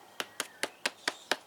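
Six quick taps on an old, dried zucchini squash give short, bright, hollow knocks that die away almost at once. The squash is hollow inside, because its seeds have used up everything within it.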